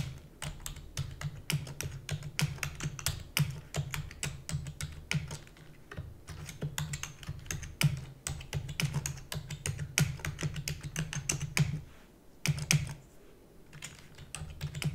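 Long-nailed fingers type rapidly on a black plastic computer keyboard, producing a dense stream of sharp, bright clicks over a steady low hum. Near the end the typing briefly thins to a sparser patter as one hand lifts, then resumes.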